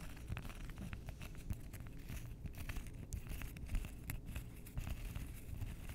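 Long nails scratch and tap along the edges and faces of a stack of several flat, solid, flower-shaped cork coasters with dark edges. The result is a steady stream of quick, dry, crackly taps and scratches over a soft, low rumble.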